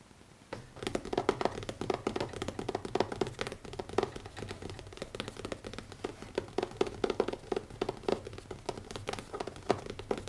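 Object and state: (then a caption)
Leather notebook cover. Fingertips tap fast on the cover of a new leather notebook, making a dense stream of soft, dull taps with very short decay and a low-mid tone. The tapping starts after a brief quiet moment and continues steadily with small swells in loudness.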